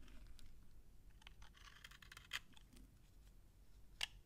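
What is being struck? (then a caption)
Bar of soap scraped with a knife. A utility knife scrapes crunchy shavings off a narrowed, solid, dry beige soap bar held in the hand. Quiet, bright, dry scraping crackles sit over a low rumble, with two sharper crunchy scrapes standing out near the middle and the end.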